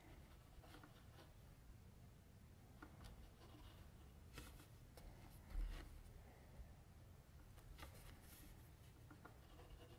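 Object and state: Pencil shading on drawing paper.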